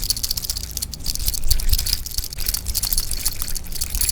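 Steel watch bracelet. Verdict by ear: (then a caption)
Loose. The all-steel bracelet of a Benyar BY-5176M, a cheap Rolex Milgauss-style watch, is shaken. It gives off a continuous metallic rattle with squeaks, bright and dense in the high frequencies over a low background rumble. The bracelet is abnormally noisy, louder than other watches, and the noise sounds cheap.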